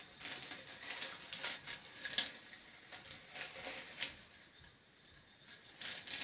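A hollow grey corrugated plastic hose has its ribs scratched and tapped by fingertips close to the microphone. The result is quiet, crisp ticking and rasping that sits almost entirely in the high frequencies, with very little low end. Brief sharper taps stand out from the continuous scratching.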